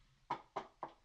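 Three quick knocks on a wooden surface, likely a table, given as the superstitious "knock on wood" gesture. Each knock is a short, dull midrange tap centred near 950 Hz that dies away almost at once, evenly spaced over about a second against a quiet background.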